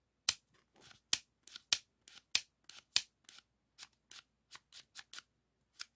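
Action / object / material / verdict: scrape / plastic floppy disk shutter / plastic / none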